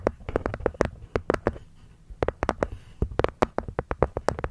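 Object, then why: Small hexagonal wooden box with cork lid. Long nails tap the wooden sides and cork lid of a small, hollow, hexagonal wooden box. About two dozen quick, dry taps each carry a hollow mid-pitched knock with a short click on top, arriving in two runs separated by a brief pause. Every tap dies away almost at once.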